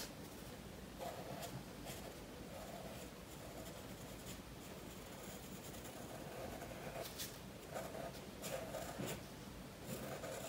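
A graphite pencil shades the head and body of a fish drawing on a page of a spiral paper sketchbook resting on a wooden table. Steady rubbing and scratching fill the clip, with brighter, sharper strokes breaking through now and then.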